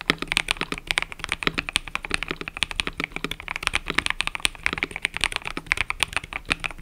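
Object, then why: Mechanical keyboard with plastic keycaps. Fingertips type continuously on a mechanical keyboard with cream and purple plastic keycaps. A rapid, steady stream of short, bright clacks centered around 2 kHz cuts off almost instantly, with little low end and a faint steady hum underneath.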